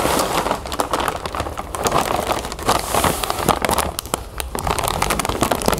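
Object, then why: Plastic bag of cereal puffs. Hands hold and lift a full clear plastic bag of cereal puffs while long nails scratch and press its surface. The result is a continuous, dense plastic crinkle with many sharp, bright crackles and a soft rustle of the puffs shifting inside.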